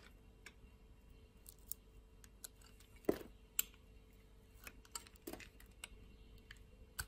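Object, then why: Bar soap cut with a metal blade. A metal utility-knife blade slices and scrapes a thin slab of purple bar soap held in the fingers. It makes about eleven quiet, irregular, crisp clicks and snaps, with a louder sharp crack partway through, over a faint steady low hum.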